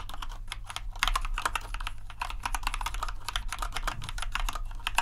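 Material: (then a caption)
Plastic. Fingertips type continuously on the keycaps of a compact white plastic RGB mechanical keyboard. A rapid, steady stream of short, bright clicky keystrokes with a clacky body around 940 Hz, each dying away almost instantly, sits over a constant low hum.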